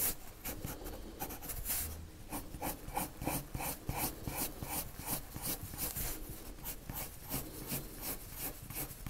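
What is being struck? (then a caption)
Coloured pencil on a paper drawing sheet. A lavender colored pencil scratches shading strokes across a white paper sheet, making a steady run of bright, dry rasping strokes at a quick, uneven pace. Each stroke is a short papery scratch over a low background rumble, with little ring after each one.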